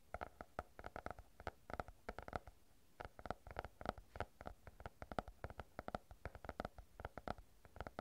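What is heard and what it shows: A stack of paper banknotes is folded, crinkled and rubbed between the fingers close to the microphone. The result is a quiet, steady run of short, dry crackles and rustles, dozens of brief snaps in irregular clusters, each with a faint papery tone around 700 Hz and almost no ring.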